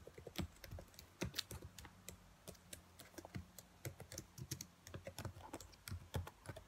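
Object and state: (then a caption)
Plastic laptop keyboard. Fingertips with long nails tap and type on the keys of a black plastic laptop keyboard. A quick, uneven stream of short, dry, bright clicks dies away almost instantly, over a faint low steady hum.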